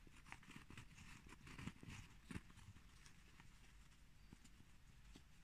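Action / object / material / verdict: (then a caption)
tap / cork plates / cork / none. Two cork plates are tapped, scratched, rubbed and bumped together, giving a quick, irregular run of dull, low knocks that die away almost at once. Softer scratchy rubbing fills the gaps between them.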